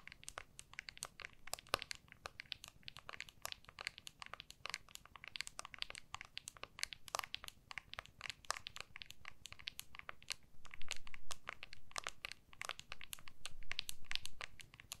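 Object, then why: Smartphone in clear plastic case. An iPhone in a small, solid clear plastic MagSafe case is held in both hands while long natural nails tap and scratch the case back. Many quick, sharp clicks arrive at an uneven pace over a low, steady hum, and a denser patch of scratching swells partway through.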